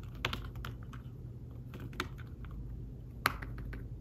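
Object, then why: Thin folio keyboard with fabric-covered keys. Fingertips type and tap on a thin tablet folio keyboard with fabric-covered keys. The result is a steady run of soft, muted key clicks with a few sharper taps standing out, all very short with almost no ring. A low, constant hum sits underneath.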